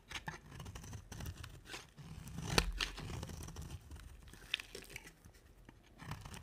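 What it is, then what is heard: Dry soap bar being carved. A round, solid, dry white soap bar with a dark rim is held in one hand and carved and shaved with a box-cutter blade, with the shavings piling up beside it. Quiet, dry scraping and crisp tearing strokes repeat throughout, with a low dull undertone and a couple of sharper, brighter clicks as the blade cuts through.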